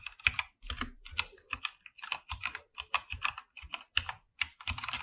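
Both hands type with their fingertips on a full-size backlit mechanical keyboard with a white backlight and PBT plastic keycaps in a dark room. Quick, irregular runs of bright, clacky keystrokes are heard, each short and dry, with a crisp tone around 2.5 kHz and a soft low thump beneath.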